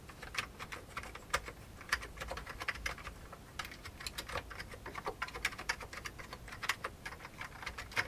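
Fingertips type on the keys of a full-size vintage beige plastic computer keyboard, over about eight seconds. A steady, uneven stream of short, sharp, bright plastic clicks and taps with almost no ring, a few landing louder than the rest.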